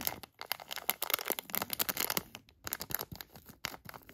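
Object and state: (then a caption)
Plastic hand warmer packet. A thin black tweezer-like tool traces and scratches the front and clear edges of a filled, palm-sized HotHands hand warmer package made of crinkly plastic. The result is a quiet, bright crinkling and scratching with quick, dry ticks and rustles. Brief pauses break up the sound along the way.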